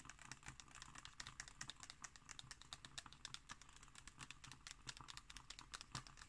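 Long green nails tap and scratch on a glossy illustrated page of an open magazine lying flat. Quick, bright clicks with faint scratchy brushing run steadily throughout the clip, sounding much like rapid typing.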